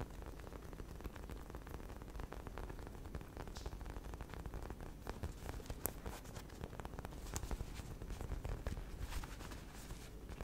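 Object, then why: Soft polyurethane foam squishy toy. Long red nails rapidly scratch and tap the surface of a solid, hand-sized pink and white unicorn cake squishy made of soft polyurethane foam with a yellow horn, held close to the mic. The result is a dense, steady patter of soft scratching with a heavy low rumble and occasional sharper, bright clicks.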